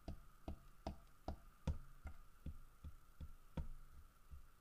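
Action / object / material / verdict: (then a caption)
tap / carved wooden bear figurine / wood / none. Fingertips and nails tap on the carved fish and the side of a large, solid carved wooden bear figurine. The result is a steady series of soft, dull, low knocks that die away quickly, with a faint steady hum underneath.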